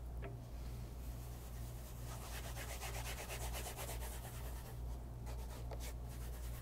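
A light brown bespoke leather loafer with a wooden shoe tree inside, held upright, is rubbed during a shine with a white cloth wrapped over the fingertips. Continuous soft brushing and swishing strokes run throughout, with brighter scuffs at times, over a steady low hum.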